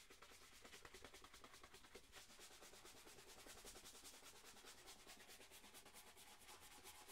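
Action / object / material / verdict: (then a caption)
scrape / leather dress shoe / leather / none. A single black leather dress shoe, hollow and held up, is buffed with rapid strokes of a wooden-backed horsehair brush. The strokes make a fast, steady, bright swishing with a light rumble underneath. The brushing keeps an even, continuous rhythm throughout.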